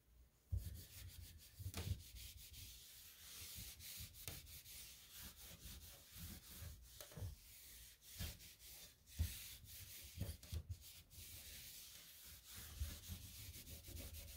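A hand rubs a pink microfiber cloth over the drawer fronts of a light gray painted particleboard nightstand. The clip is a steady, soft, breathy swishing with a low rumble underneath, broken by a few sharper bumps and scuffs as the cloth is wiped back and forth.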